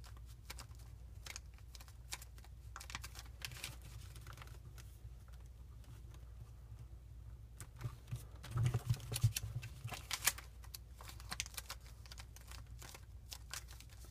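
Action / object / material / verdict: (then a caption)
scrape / folded paper pinwheel / paper / none. Fingertips and thumbs press, pinch and rub a flat, layered, hand-sized pinwheel of gold and green origami paper to set its folds. Quiet, crisp paper crinkles and soft irregular taps sit over a steady low hum, with a brief louder flurry of rustling past the middle before it settles back down.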